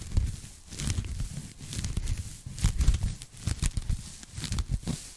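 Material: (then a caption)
Polyethylene foam. A pink polyethylene foam packing bag, folded into a strip and held in both hands, is scratched and tapped with long nails. The result is a dry, uneven run of soft, low-heavy thumps mixed with bright crinkling, tearing-like scratches that stop quickly without ringing.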